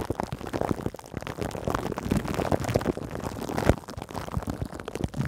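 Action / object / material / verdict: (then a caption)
scrape / plastic-film-covered metal mesh microphone head / plastic film / none. Long green nails on both hands scratch and lightly tap a cling-film-covered metal mesh microphone head. The result is a dense, continuous crackling and rustling with soft thumping taps, heavy in the low end and with little bright content. A louder tap stands out near the end.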